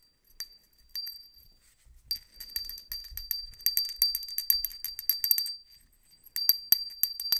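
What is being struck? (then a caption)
Small ceramic hand bell. A small, hollow white ceramic hand bell with a decal is held open side up in a black-gloved hand and shaken so it rings. It gives bright, high, glassy tinkles in quick bursts of short strikes with brief pauses between the bursts. Each strike dies away almost at once.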